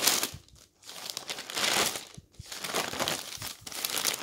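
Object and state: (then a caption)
Newspaper pages turning. Fingertips lift and turn the pages of a thick newsprint newspaper on a table one after another, so the thin paper rustles and crinkles. Bright, airy swells of rustling rise and fade with each turn, broken by brief near-silent pauses between pages.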